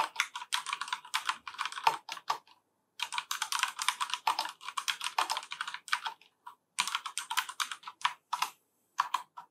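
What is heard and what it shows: A full-size black plastic FILCO Majestouch 3 mechanical keyboard with Cherry MX Brown switches is typed on with the fingertips of both hands. Bursts of quick, crisp, bright key clacks with almost no low end are broken by short pauses.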